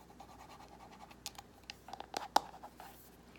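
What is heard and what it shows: Long nails scratch and tap along the smooth, glossy, hollow plastic back and handle of a paddle hairbrush with a floral print. A soft, steady scratching runs under a series of sharp, bright taps that stand out from about the middle of the clip. The taps have a light hollow tone around 830 Hz and stop dead with no ring.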